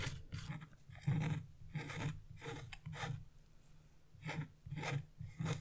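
Black wax-coated scratch-art paper is scraped with a wooden-handled chisel held by blue-nailed fingers, peeling away the black coating. Repeated short, rasping scrapes come in bursts over a low, steady hum, with brief quiet gaps between strokes.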